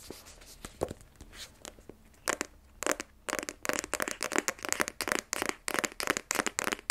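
Fingernails tap the front face of a small black rigid cardboard iPhone 12 Pro box, hollow with the phone inside and held in both hands. Sparse dry clicks give way to a quick, busy run of crisp, papery taps with a bright, crinkly edge. Each tap dies almost instantly, with no ring and very little low end.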